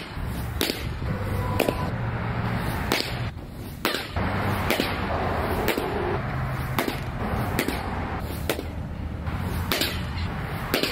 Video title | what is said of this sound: Is This The Best Catcher's Mitt? | it sounds full it sounds awesome